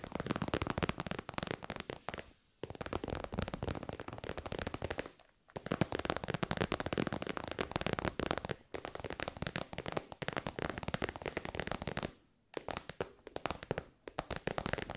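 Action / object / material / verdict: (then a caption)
tap / synthetic faux-leather pouch / faux leather / none. A shiny, hollow, metallic pink faux-leather synthetic pouch is tapped and scratched with long white nails. The result is a dense, fast run of dry, crackly ticks and scrapes, broken by a few short pauses.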